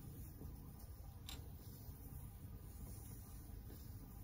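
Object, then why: Stuffed faux fur pillow. A large, soft, stuffed pink shaggy faux fur heart-shaped pillow is wrapped around the microphone and rubbed and scratched with fingertips and long nails. It makes a continuous deep, muffled rumbling rustle. A brief brighter scratch stands out near the middle.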